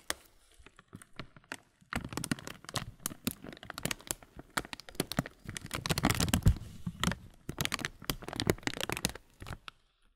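A clear plastic bag full of granola has its top film crumpled and rubbed by hand close up. Dense, irregular crinkles, crackles and rustles carry bright, sharp edges, with heavier, fuller crunching in the middle of the clip.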